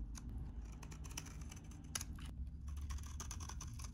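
A utility knife blade shaves curls off a solid, hand-sized, very dry, cream-colored vintage soap bar. The result is a quiet, steady run of crisp, bright crackling scrapes and small ticks over a low background rumble.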